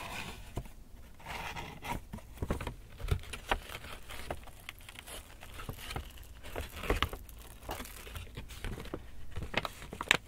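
An empty black Lush paper shopping bag with rope handles is lifted by its handles, shaken and crinkled by hand while fingers rub the paper. The result is a steady, dry crinkling rustle with sharp, bright crackles and soft low thumps scattered throughout.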